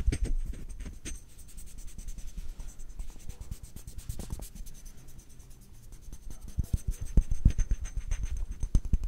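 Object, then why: Glass perfume bottle. Fingernails tap and scratch across the body of a clear faceted glass perfume bottle with a dark purple cap, a bow and a white flower label. Quick, irregular clicks and dry scratching run throughout, with a quieter stretch in the middle before the taps grow louder and sharper near the end.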